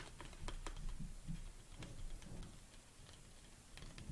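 Long nails tap quickly on the sides of a large, hollow black plastic protein tub standing on a table. The result is a quiet, irregular patter of short, dry clicks with bright ticks and a dull, hollow low thump that dies away almost at once.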